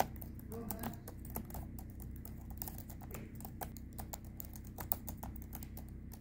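A hand with long red-painted nails types rapidly across the light plastic chiclet keys of a silver HP laptop. The result is a quick, steady patter of short, bright key clicks over a low, constant hum.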